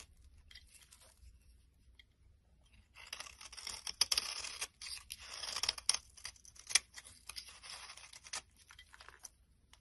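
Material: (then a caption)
Soap. A metal blade scrapes and shaves the surface of a solid brown bar of soap held in the hand. The sound is a bright, dry, crunchy scraping with many small peaks, quiet for the first three seconds, then a denser stretch of shaving strokes before it thins back to light scratches.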